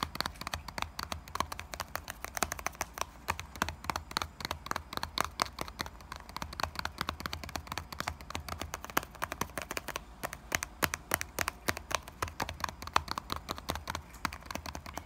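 Fingertips tap rapidly and nails scratch across the top of a small printed Knorr cardboard box of bouillon cubes, likely full, resting on a counter. A fast, dense stream of short, dry taps with bright scratchy edges dies away instantly, over a faint steady low hum.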